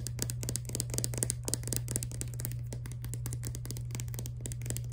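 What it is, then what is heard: Plastic toothpaste tube. Long nails rapidly tap and handle a filled Crest toothpaste tube made of soft laminate plastic with a white cap. The result is a dense stream of quick, crisp clicks and light crinkly ticks with bright edges and very short decay, over a steady low hum.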